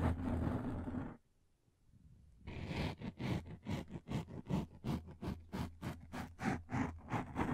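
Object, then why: Thin frosted plastic sheet. A thin, translucent frosted plastic sheet is held flat above the mic in both hands while long painted nails scratch and tap its surface. A dense, rough scraping opens the clip, then breaks off into near-silence for about a second. It is followed by a rhythmic run of 13 distinct, bright, scratchy strokes with a low, thumping body.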